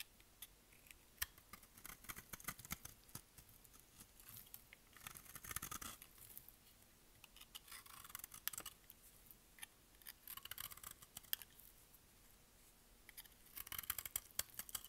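A utility blade scrapes and shaves flakes off a solid, dry, rectangular pink bar of soap held in the hand. The result is quiet, crisp, bright scratching and rapid dry clicks. Denser rasping bursts come around the middle and near the end.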